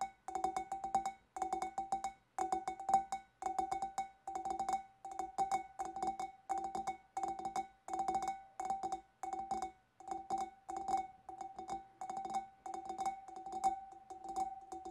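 A large, empty, clear glass fish bowl is tapped on the sides of its hollow bulb with the long nails of both hands. Quick clusters of light taps repeat in steady bursts, each giving a short, clear ring around 780 Hz with bright edges.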